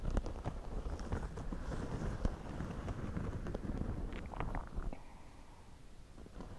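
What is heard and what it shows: Fingertips scratch and pinch the brim and crown of a white, wide-brim woven straw floppy hat worn on the head. The result is a dense, low, rustling scratch broken by frequent sharp crackling clicks, which thins out and turns quieter in the last couple of seconds.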